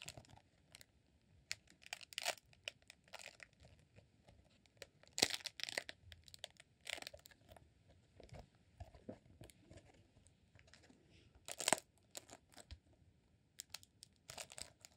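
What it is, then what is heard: Rolled beeswax candle. A green rolled honeycomb beeswax candle, held as a solid roll in both hands, is scratched and pressed by fingertips across its textured wax. The result is quiet, bright, crinkly crunching and tearing-like scratches in short, irregular bursts, with the loudest flurries around five and twelve seconds.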